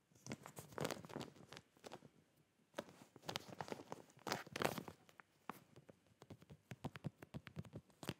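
A clear plastic zip bag full of folded cotton boxer shorts is held and tilted while fingertips and nails tap and rub its plastic face. The result is a quiet run of crinkly pats and scratchy rubs, mostly short and dry, with a few louder clustered bursts in the middle.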